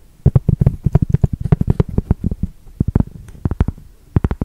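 Long nails tap and scratch across the face of a solid cork yoga block with a coarse, granular surface. About 26 quick, dull, low thuds come in uneven bursts, each dying almost instantly, with faint scratchy texture between them and a final cluster near the end.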